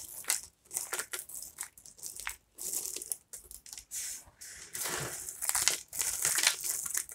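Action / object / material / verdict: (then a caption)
scrape / pile of broken soap pieces / soap / none. Both hands grab and squeeze fistfuls from a pile of broken, brittle dry soap pieces (flowers, plates, a star and curls) on a wooden table, crushing them between the fingers. The result is a run of dry, bright crunching and crumbling bursts at an uneven pace, each short with almost no low end and no ring.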